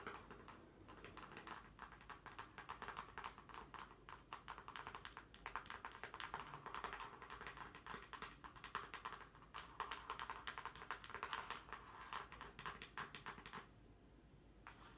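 A closed, hollow pink cardboard shipping mailer box is tapped with long nails along its top edge and face. Dense runs of quick, crisp clicks sound hollow and papery, with a midrange tone near 900 Hz. The tapping goes on almost without a break and eases off near the end.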